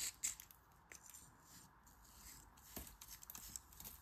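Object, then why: Kinetic sand in a plastic mold. A craft knife blade scrapes and cuts across dense, moist, packed grey kinetic sand filling a green plastic flower-shaped mold, held in a palm with red-painted nails. The result is a quiet, bright, crisp scraping texture with sharp, short gritty ticks and little low end.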